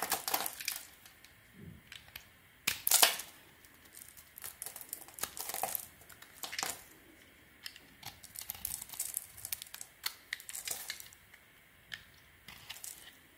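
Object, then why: Solid bar of soap scraped with a metal blade. A metal utility-knife blade scrapes and carves flakes off the edge of a palm-sized, solid cream bar of soap held in the hand, and crumbs fall. Crisp, bright scraping and crinkly crackles come in irregular bursts with quiet gaps, the loudest cut landing around three seconds in. The sound is thin and dry with almost no low end.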